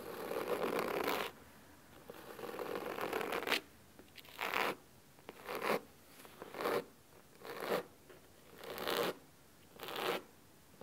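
Fingernails of both hands quickly scratch the cloth cover of a large, solid blue cloth-bound hardcover book resting on a wooden table. Eight crisp, bright scratching bursts are heard, the first two long and the rest short, each separated by near silence.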